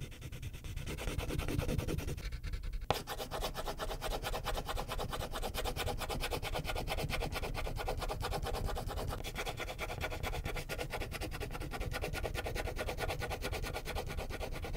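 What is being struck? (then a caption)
Wax crayon on a thin paper sheet over a clipboard. A purple wax crayon is rubbed in short, quick strokes across a thin white paper coloring sheet resting on a clipboard. The result is a steady, dense, scratchy rubbing with a soft, low-heavy body, broken by a brief near-pause around the two-to-three-second mark before the strokes resume.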